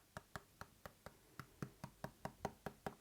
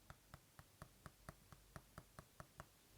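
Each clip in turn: First: Thirteen quick fingertip taps on a tablet screen, short and clicky with a hollow, plasticky edge. Second: Twelve quiet, quick fingertip taps on a glass tablet screen, short and tight: a solid, laminated display.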